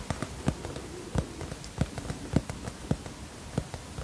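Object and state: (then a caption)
Hardcover notebook cover tapped. Fingertips tap the cardboard cover of a teal hardcover notebook held tilted in both hands. About ten soft, dull taps come at an uneven pace, each a low, short thump that dies away almost at once over a faint background hiss.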